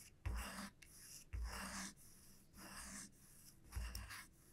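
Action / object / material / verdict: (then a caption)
scrape / wooden comb / wood / none. Long nails scratch and flick across the wide teeth of a small, solid wooden comb lying flat on a felt mat. Each stroke begins with a soft low thump, followed by a bright, dry, scratchy rasp that fades between strokes.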